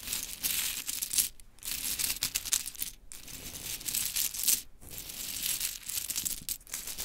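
Long chrome nails tap and rake through a pile of mini pink wooden clothespins. The result is a dense, bright clatter of small clicks and rattles, almost all high in pitch with little low end, broken by short quiet gaps between passes.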